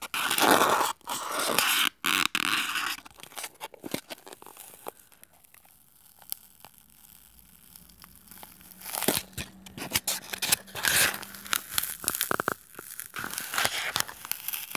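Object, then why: Styrofoam block. A solid white styrofoam block is held upright in both hands while short nails and fingertips scratch and squeeze its edges. The result is bright, crunchy scraping and squeaking in uneven bursts, loud at the start, quieter through the middle, and picking up again toward the end.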